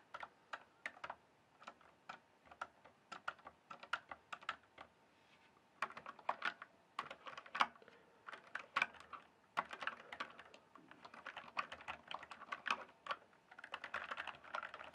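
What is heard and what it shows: A full-size RGB-backlit plastic mechanical computer keyboard, with hollow keys on a solid base, is typed and tapped with fingertips. Quick bursts of sharp, hollow clicks and clacks centre around 1 kHz with a bright edge, each dying away almost instantly. Short pauses break the typing, and it grows denser and busier toward the end.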